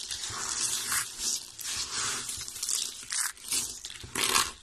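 A heap of solid, dry, brown soap flakes is scooped up and crushed in both hands with the fingertips. It makes bright, dry crunching and crinkling in repeated swelling bursts, with almost no low end.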